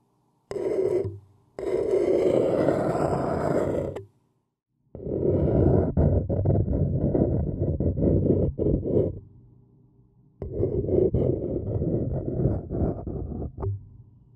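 A thin wooden stick scratches and taps an empty white paper cup turned upside down, its hollow body amplifying the strokes. Dry, rough scratching bursts with a papery low-mid resonance come in four bouts separated by brief silences, with quick taps and strokes running through the longer passages.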